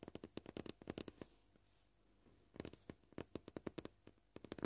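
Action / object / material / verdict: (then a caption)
tap / plastic cutting board / plastic / none. Short purple-painted fingernails tap quickly on a flat, solid white plastic cutting board (likely polyethylene) marked with knife scratches. About 24 short, dry, clicky taps with a dull low-mid tone come in two quick runs separated by a brief quiet pause.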